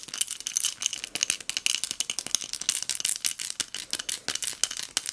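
A small pink hobnail glass votive cup filled with pearl beads is tapped with long nails and shaken. It gives a fast, uneven stream of bright, dry clicks and rattles with no low end. Each tick dies away almost at once.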